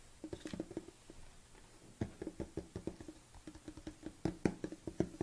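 Long nails tap and scratch the orange lid and labelled side of a large red plastic BCAA supplement tub held tilted in the hands. Quick, dry, hollow plastic taps with a low mid-pitched knock come in uneven bursts, with faint scratching between them. Each tap dies away almost at once.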